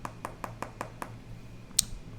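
Six quick, evenly spaced taps on the laminated glass display of an iPad Pro, each a short dull knock with almost no ring, followed by a sharper, brighter click. The laminated screen sounds solid and sturdy, unlike the hollow tone of a non-laminated display.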